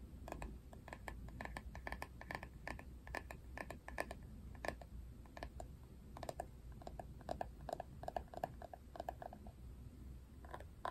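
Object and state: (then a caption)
Plastic paddle hairbrush. Fingernails tap and scratch the flat, hard plastic back of a paddle hairbrush printed with a Barbie face. The result is a quick, dense run of short, dry clicks with a faint hollow ring, mixed with soft scratching over a low background rumble.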